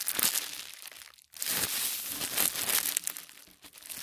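Fingertips press, fold and crinkle a thin sheet of white tissue paper folded on a wooden table. Bright, papery crinkling and rustling fill the clip, dipping into near-silence for a moment just after one second before resuming in soft, uneven bursts with almost no low end.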